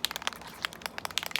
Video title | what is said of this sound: Prepping a Tumbler | I started shaking this one and you can hear the rattle